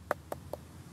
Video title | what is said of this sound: Mahasiswa Undip SMG dari Medan Datang Sidak Repuplik Bibit,Hasilnya bikin speechles | dia agak lebih ngebas diikit